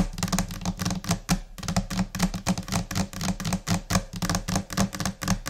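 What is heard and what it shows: Long nails tap with both hands across a flat, solid white laminate desk surface in quick, scattered, irregular rhythms. Each tap is a short, sharp click with a dull low thud underneath and almost no ring, and the taps overlap into a busy patter.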